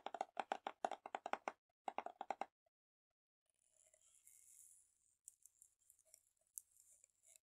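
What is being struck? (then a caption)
Small plastic tub of slime. Fingernails tap and scratch a small round plastic slime tub full of green kiwi slime, on its clear plastic side and printed white lid. A quick run of crisp, hollow mid-pitched taps fills the first two and a half seconds. After a short pause, a soft, bright scratching hiss follows, broken by a few light clicks.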